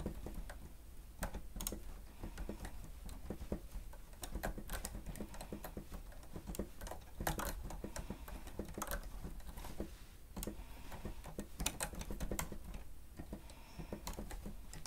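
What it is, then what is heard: Plastic stenotype keyboard being typed on. Fingertips type continuously on the keys of a grey plastic stenotype machine keyboard. The sound is a quiet, uneven patter of short, dry plastic clicks with bright tops over a low, steady background.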